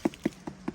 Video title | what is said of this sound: 365 ദിവസവും ചക്കയുണ്ടാകുന്ന vietnam super early. .21 മാസമായ പ്ലാവിൽ ചക്ക ഉണ്ടാകും. .ഇത് നടുന്ന വിധം | നമ്മുടെ ചക്ക പഴുത്തത് പഴുത്തതിന്റെ ശബ്ദം നമുക്ക് കൊട്ടുമ്പോൾ തന്നെ അറിയാൻ പറ്റും